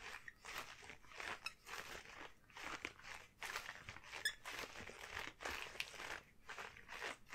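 A pair of long yellow household rubber gloves is worn on both hands as the gloved hands are squeezed and rubbed together and the fingers flexed. The result is a quiet run of rubbery squeaks and crisp, crinkling bursts, bright and crunchy with little low end, each rustle dying away quickly.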